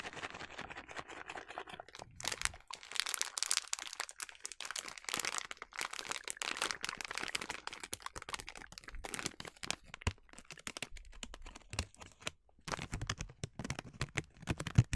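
A full yellow plastic bag of sliced blanched almonds is crinkled and scratched with long nails. The result is dense, bright crackling and crunching that runs almost continuously, with brief pauses near 2 and 12.5 seconds.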